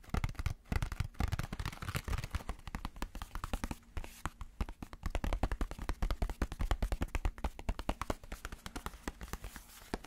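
A plastic sponge casing is tapped rapidly as an ASMR tapping trigger. The taps are dense, short and dry, with a low, dull body and almost no ring after each one.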